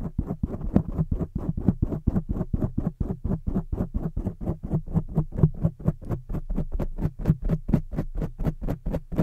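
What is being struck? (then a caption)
Foam microphone windscreen. Long jeweled fake nails and fingertips scratch and rub a rounded, soft, porous black foam windscreen on a microphone from both sides. Around 45 short, dull, muffled scratching bursts follow one another at roughly two per second in an uneven rhythm. The sound is heavy in the low end, with each stroke dying away almost instantly.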